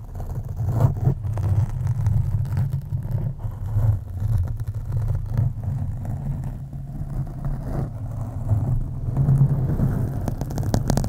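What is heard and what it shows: Long acrylic nails scratch the sides and top of a black foam windscreen on a microphone. The result is a steady, muffled, low rumbling scrape centered around 100 Hz, with soft crackly texture and almost nothing in the highs.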